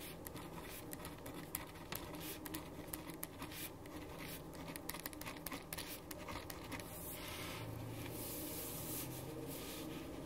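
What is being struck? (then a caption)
Paper sheet under a ballpoint pen. A black ballpoint pen writes on a white paper sheet resting on a wooden desk, producing soft, dry scratching strokes with quick ticks as the tip moves across the page. The scratching turns into a steadier, brighter hiss toward the end, over a low, constant background hum.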